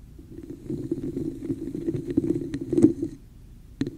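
Long nails scratch and tap the sides of a hollow red plastic cup with a woven texture held over the microphone. A dense, hollow scratching rustle with a resonant midrange tone builds and swells, peaking just before 3 seconds. It then drops to a quiet hiss, broken near the end by a sharp tap.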